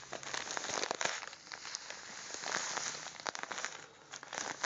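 A small, soft, apparently full plastic bag of União sugar is held in both hands and squeezed and crinkled with the fingertips. The result is a dense, bright crinkling with sharp crackles and quick little snaps over almost no low end.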